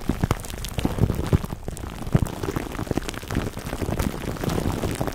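Clear plastic cling wrap stretched over a black foam microphone windscreen is rubbed by hands, then scratched with fingertips. Dense, close crinkles and soft, bassy thumps pop and rustle irregularly through the clip.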